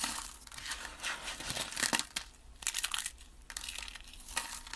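A heap of pink dry soap flakes on a table, brittle and solid, is pressed and crushed by hand and fingertips. Dry, bright crunching and crinkling comes in bursts of many quick, crisp snaps with almost no low end and no ring.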